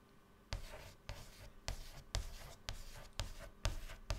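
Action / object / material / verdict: scrape / white chalk on a chalkboard / chalk / none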